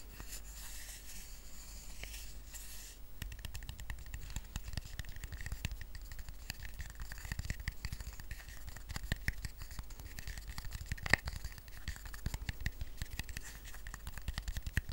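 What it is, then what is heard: Woven rattan coaster. Fingertips and short nails scratch and tap the weave of a small, round, flat woven rattan coaster resting on a blanket. A quiet, bright hiss of scratching fills the first few seconds, then dense, rapid scratches and taps follow with soft low thumps and a faint steady tone near 1.9 kHz. Each tap dies away at once, with one sharper tap standing out around the eleventh second.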